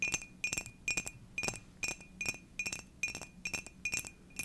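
Long dark nails tap a hollow, seemingly empty purple and dark glazed ceramic mug in a steady run of quick paired taps. Each tap gives a bright, high, glassy clink with a faint ring that dies almost at once.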